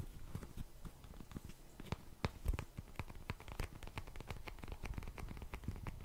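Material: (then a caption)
Cardboard. A small, hollow, printed cardboard Cheeky Panda tissue box is tapped quickly with fingertips and nails. The steady run of soft taps sounds dull and low, with short, bright clicks from the nails. Each tap dies away almost at once.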